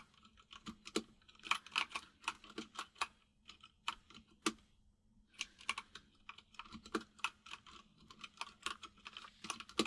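Fingertips of both hands type on a full-size mechanical keyboard with white and grey plastic keycaps and a hollow case. Quick, bright, clacky key taps come in bursts, with a brief pause around the middle. A faint steady low hum sits underneath.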